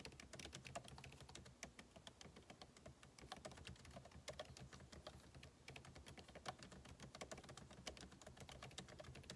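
Fingertips type rapidly on the plastic keycaps of a backlit MacBook Pro keyboard set in an aluminum body. The result is a dense, steady stream of quick, crisp clicks with bright tops over a soft low rumble.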